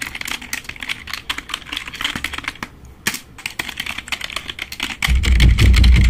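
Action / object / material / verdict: tap / plastic membrane computer keyboard / plastic / none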